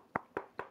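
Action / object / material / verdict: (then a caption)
knock / plastic motorcycle helmet shell / plastic / none. Three quick knocks on the plastic outer shell of a budget Grayfosh G3838 flip-up motorcycle helmet give short, dry, hollow taps with almost no ring. The casing sounds less solid than pricier helmets but fits its low price.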